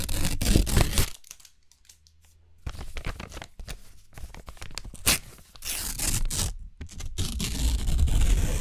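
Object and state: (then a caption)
Thin paper receipts being torn. Long, thin white paper receipts are torn into strips by hand, with pieces held in both hands. Quick, crisp ripping bursts come in clusters, separated by a quiet pause with a faint low hum. The bursts then return as longer, bright, rustling tears of the light paper.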